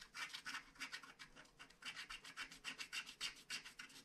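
A wooden stylus scratches the black coating off a flat paper scratch-art card, etching out castle towers and a cloud. It makes a quiet, rapid series of short, bright rasping strokes, each with a hissy, papery grit and almost no low end.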